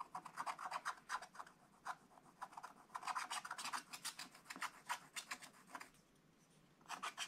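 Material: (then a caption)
Coated paper. A wooden stylus scratches the black coating of a scratch-art book page below the tree, making quick, dry rasping strokes in uneven bursts. The scraping is centered around 1 kHz with bright, high edges, pausing briefly near the end before a final flurry of strokes.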